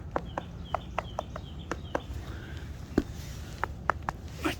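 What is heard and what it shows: A stone deck paver set in mortar is tapped about a dozen times, producing short, sharp, dry clicks with little ring over a low background rumble. One of the stones sounds hollow because it has come loose from the mortar underneath.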